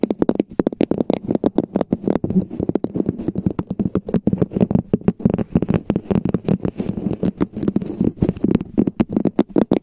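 A hollow, empty red plastic cup-shaped cover is tapped and scratched with the long painted fingernails of both hands. The result is a rapid, continuous patter of short, dry clicks with a hollow resonance around 200 Hz, mixed with soft scratching textures.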